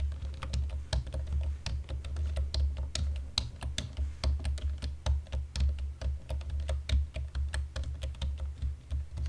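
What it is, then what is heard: Plastic computer keyboard being typed on. Both hands type steadily on a black plastic computer keyboard with fingertips and nails in dim light, producing a rapid, uneven stream of sharp, bright key clicks. A steady low hum sits beneath the typing throughout.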